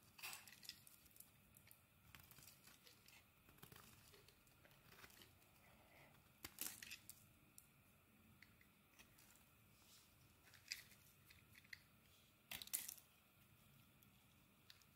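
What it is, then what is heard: Bar of soap being carved. A small metal blade shaves thin curls from a hand-sized, solid pink Lux bar of soap held in the palm. Quiet, bright, crisp scraping and crinkly shaving strokes come in short bursts, with a few louder carving scrapes standing out late in the clip.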